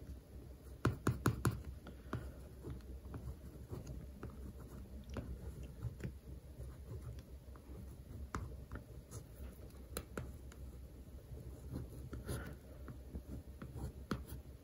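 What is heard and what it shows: A red-and-white plastic pen is tapped and traced over the glossy, paper-covered cardboard cover of a large, closed hardcover "Professional Baking" textbook lying flat on a woven mat. A quick burst of sharp, dry taps near the start gives way to soft, low scratching and tracing strokes, with occasional brief clicks. The sound stays quiet and dull throughout, with each tap dying away almost instantly.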